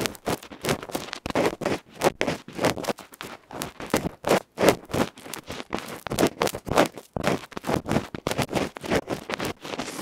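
A bamboo ear pick vigorously scratches the dark felt front of a small electret microphone capsule, a metal can held in the fingers. The result is rapid, loud, close-up scraping and rustling in short, broadband bursts centered in the midrange, with brief gaps between strokes.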